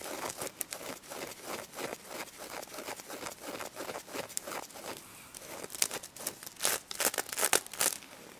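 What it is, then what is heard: Sequin fabric toy being scratched. Long red nails scratch across the pink sequin surface of a stuffed plush pig, flipping the sequins. The result is a dense, bright, crinkly rasp of quick, irregular strokes, growing louder and sharper in bursts near the end.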